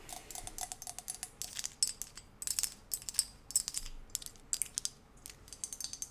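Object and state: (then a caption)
Ceramic ashtray. A ceramic ashtray shaped like two horses pulling a carriage is tapped in a rapid, irregular series of about 35 light taps. The taps are bright, high-pitched clicks with almost no low end and a very short ring. The ashtray is judged decently detailed for ceramic.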